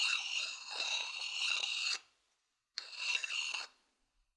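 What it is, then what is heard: Wooden bowl scratched with a stick. A thin wooden stick scratches and rubs the outer surface of a hollow, empty, medium-sized wooden bowl turned bottom-up toward the mic. Two bursts of dry, bright, crunchy scraping with a faint tonal ring are heard, separated by a short silence.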